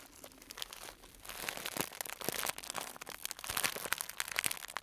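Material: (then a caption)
Cellophane. A small clear plastic cellophane bag tied at the top and filled with dried fruit and nut pieces is held in the hands, one wearing a black glove, and squeezed, crinkled and rubbed with the fingers. Dense bright crackling and crinkling builds in short rustling bursts over nearly five seconds, with little low end.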